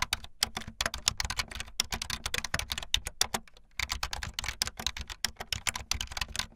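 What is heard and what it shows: Fast typing on a full-size backlit plastic Bluetooth membrane keyboard with white and blue plastic keycaps and a hollow plastic body, the keys pressed with fingertips and the tips of long painted nails. A rapid, dense run of short, bright, clacky plastic taps with a hollow undertone dies out almost instantly after each stroke. The typing pauses briefly near the middle before resuming.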